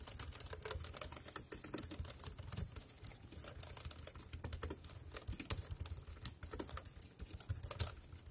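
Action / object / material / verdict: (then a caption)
tap / plastic wireless keyboard / plastic / none. Fingertips type steadily on the round keys of a dark grey plastic wireless keyboard. The result is a rapid, continuous patter of short, dry clicks with bright, crisp tops, riding over a soft low rumble.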